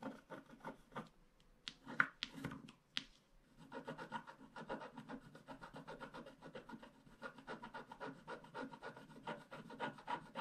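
A wooden stick scrapes the black wax coating near the bottom edge of a small, flat paper scratch art card. The result is a quiet, dry scratching and rubbing texture. It begins with a few separate strokes, then builds into a fast, steady run of short scrapes that lasts to the end.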